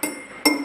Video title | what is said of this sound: 4 Februari 2021 | contoh gelas dipukul dengan sendok logam bunyinya terdengar kuat Ting Ting